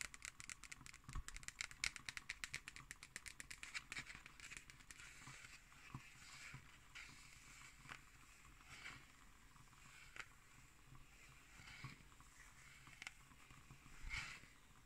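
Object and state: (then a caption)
Cardboard hardcover notebook. Long nails tap rapidly and scratch on the paper label stuck to the cover of a closed black cardboard hardcover notebook. A quick run of crisp, bright clicks fills the first few seconds, then slows to scattered taps over a soft, steady scratching hiss. Each tap is short and dry, with almost no ring.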